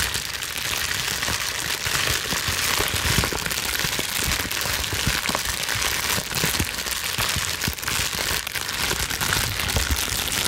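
A plastic bubble wrap sheet, gathered vertically in both hands, is scrunched and squeezed with long nails. It makes a steady, dense, bright crackle with scattered sharp pops and scratchy crinkling throughout, with no pauses.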